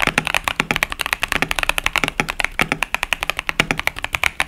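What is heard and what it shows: A 65% KBD67 Lite mechanical keyboard, with a polycarbonate plate, foam-dampened case, tactile Boba U4T switches and pastel Cherry-profile plastic keycaps, sits on a desk mat and is typed on continuously with the fingertips of both hands. About 36 crisp, short keystrokes clack in a quick, uneven stream, bright and sharp with a mid-high tone around 2.2 kHz and little low-end thump.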